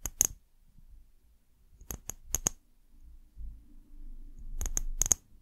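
Long nails tap the glass sides of a small, hollow brown amber glass bottle with a paper label and a white cap. Quick bright, glassy clicks come in three short bursts with little ring, over a faint low rumble in the quiet gaps.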